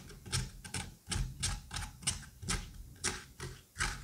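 A curette scrapes the seeds and fibrous pulp from the cavity of a pumpkin half. It makes a run of irregular, wet, slippery scraping strokes, each a short burst of bright hiss over a soft, low, thudding body, with quiet gaps between them.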